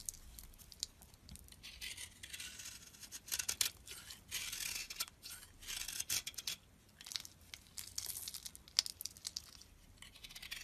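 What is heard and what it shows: A solid cream bar soap block, held in the hand, is carved and chipped with a metal utility blade. Bright, hissy scraping and shaving bursts alternate with short, sharp crisp clicks as pieces break away, separated by brief quiet pauses.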